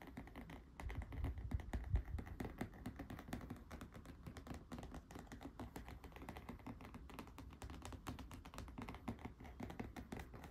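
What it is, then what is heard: Cardboard board book. Fingertips and nails of both hands tap quickly on the glossy back cover of a thick, square cardboard board book, "The Snowy Day," with solid laminated pages, lying face down on a wooden table. The result is a dense, continuous patter of soft, dull, low taps with very short decay and almost no bright content, loudest in the first two seconds and then steady.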